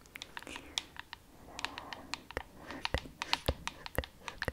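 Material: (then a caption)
Plastic. Long acrylic nails tap on the curved surface of a hollow, hand-sized, glowing frosted plastic cylindrical LED night lamp. The sound is a quick run of many sharp, bright clicks that ring only briefly, with soft, wet mouth sounds between them.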